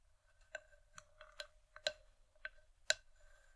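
Long nails tap and grip the outer side wall of an empty, hollow wooden bowl. This produces several short, dry, irregularly spaced clicks with a hollow mid-pitched ring that dies away almost at once. The hits sit quietly over a faint low background.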